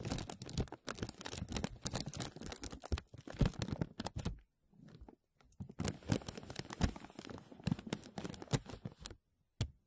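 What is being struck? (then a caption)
Thin plastic vacuum-seal bag. Fingertips tap and crinkle a thin, clear, embossed plastic vacuum-seal bag stretched over a mesh microphone dome. Dense bursts of crackling and soft taps carry a strong low thump from the dome. There is a brief quiet pause near the middle and a short gap before a final tap at the end.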